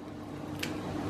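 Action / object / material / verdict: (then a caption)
strike / fried dough brushwood cookie / fried dough / crisp. A piece of crispy fried brushwood pastry is snapped in two, giving a single short, bright crack over a low steady hum. The clean snap shows the fried dough is crisp.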